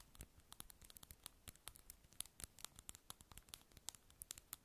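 Long acrylic nails tap and scratch a small, hollow, light-blue round plastic lip balm egg held in both hands. About thirty quick, sharp, dry clicks come in an irregular patter, with soft scratching in between. The sound is quiet and bright, and each click dies away almost at once.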